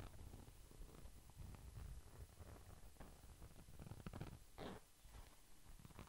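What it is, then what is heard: Glitter-coated pouch. A small, flat red pouch with a glitter-coated surface is held beside the microphone and scratched and tapped with the fingertips. The result is a quiet, low, rumbling crackle that rises and falls, with a few soft, muffled taps standing out.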